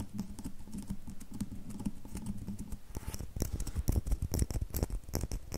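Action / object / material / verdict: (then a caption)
tap / bar of soap tapped with fingernails / soap / none. A solid red bar of soap is tapped rapidly with long fingernails, making a dense, dry patter of short clicks. The taps start soft and quick over a low hum-like tone, then turn louder and sharper in the second half, with brief bright ticks over a mostly low, thudding body.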